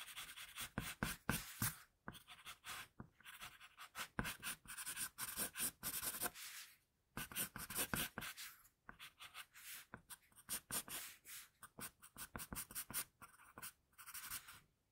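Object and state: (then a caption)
Pencil drawing on paper. Fingers hold an HB wooden pencil and draw quick, short strokes across a flat sheet of drawing paper with a pencil sketch, resting on a desk. The result is a bright, dry scratching hiss in uneven bursts of about four strokes per second, broken by a few brief silent pauses.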